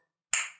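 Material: Ceramic.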